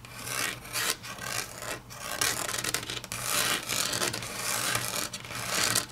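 Long natural nails scratch and tap across a flat, solid grey wood-grain laminate tabletop. The result is a continuous bright, rasping scrape that swells and fades in uneven strokes, with quick clicks mixed in.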